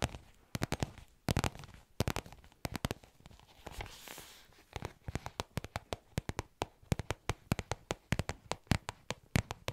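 A small black faux leather zip pouch, held close to the mic, is tapped and scratched with long nails fitted with paper clips. Sharp, dry, clicky taps come in uneven bursts, broken by a brief hissing scratch partway through. The taps then settle into a steadier rhythm toward the end.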